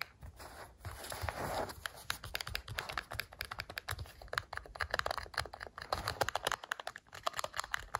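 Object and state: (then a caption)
Plastic TV remote control. Fingertips and nails rapidly tap and scratch the plastic sides and battery cover of a black, hollow, hand-sized plastic TV remote lying on a sofa. The result is a fast, dense stream of short, dry, clicky taps with bright edges and no ring. A scratchy rustling swell comes in near the start.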